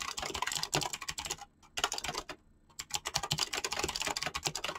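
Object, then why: Mechanical keyboard with PBT plastic keycaps. Fingertips type rapidly on a mechanical keyboard with pink-blue PBT plastic keycaps, producing fast, bright, clicky switch presses with very short decay. The flurry of keystrokes breaks off for two brief pauses, around 1.5 and 2.5 seconds, then resumes.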